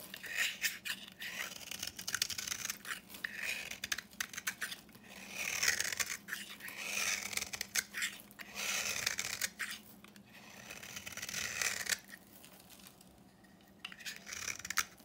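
A solid rectangular bar of dry yellow soap with a copper paint coating is held in the hand and scraped and shaved with a utility knife blade, sending flakes falling. Dense, dry, crackly scraping strokes come in bursts, bright and hissy with almost no low end. A quieter stretch near the end is followed by a few more sharp scrapes.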